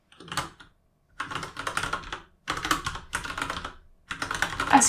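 Fingertips type dense runs of key taps on a full-size RGB mechanical keyboard with plastic keycaps. Quick clacking bursts come in about five clusters separated by short pauses, with a bright, clicky top end and little low thump. Each tap dies away quickly.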